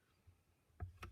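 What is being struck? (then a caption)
Paint marker with metal ball bearing. A gold paint marker is shaken before drawing an edge, and the small metal ball bearing inside rattles with two short, clicky knocks over a quiet background. The moving ball mixes the paint inside the marker.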